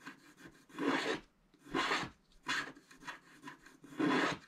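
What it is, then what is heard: Scratch-art paper card being scratched. A wooden stylus scratches the black coating near the top of a flat scratch-art paper card. Four louder, raspy scraping strokes rise and fade, with quieter scratching between them. The sound is dry, papery and bright.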